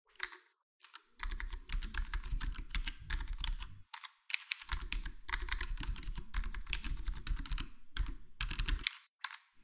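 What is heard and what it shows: A full-size black plastic HyperX Alloy Core gaming keyboard with square plastic keycaps and a foam-modded, foam-dampened case is typed on, index fingertips tapping keys one at a time. Quick, short clicky taps come in steady bursts, each with a deep low thump under a bright clatter, separated by brief pauses.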